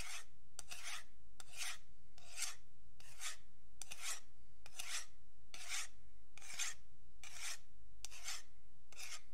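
A thin metal pick scratches along the surface of a long, flat, solid wooden yardstick held by fingertips. It makes a quick series of bright, rasping strokes in a steady rhythm, each a dry scrape with a faint low rumble underneath.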